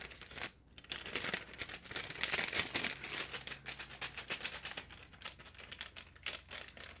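A flexible printed plastic package of light-up balloons, hollow with its contents inside, is held up close, crinkled and squeezed by the fingers and nails of one hand, and shaken. It makes a steady stream of dense, bright crackling and rustling, with sharp irregular crinkles and almost no low end.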